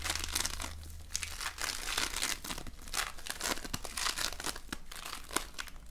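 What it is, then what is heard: Floam (foam-bead slime). A small, soft but solid lump of floam, polystyrene foam beads in slime, is squeezed and shaped between fingers. It gives off dense, bright crackling and crinkling with many quick pops, over a faint steady low hum.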